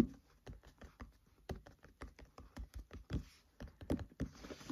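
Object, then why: Open paperback book pages. Fingertips tap on the paper pages of an open paperback book, up close, in a steady rhythmic pattern of about eighteen short, dry, soft taps. The taps are muted thumps with no ring, and a faint papery rustle shows up in the later taps.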